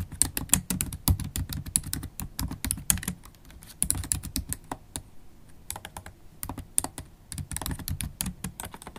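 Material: Plastic.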